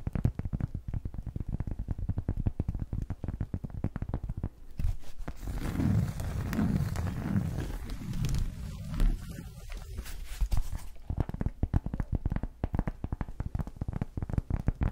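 Long nails and fingertips tap and scratch the surface of a thin, flat, leaf-shaped cork coaster with cut-out slots, held up in both hands in front of the face. Rapid, dull, low tapping runs throughout, giving way in the middle to a denser, brighter scratching rustle before the quick tapping returns.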